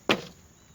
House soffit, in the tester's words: you tap on it, and you get some noise that kind of sounds like gravel. You probably have some poo-poo in there.